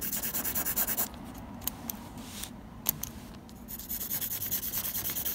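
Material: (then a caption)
Paper. A blue mechanical pencil tip scratches rapid back-and-forth graphite hatching strokes across a flat sheet of textured white drawing paper. A quick run of bright, raspy strokes is followed by a short lull with a few light ticks, then the hatching resumes at the same brisk pace.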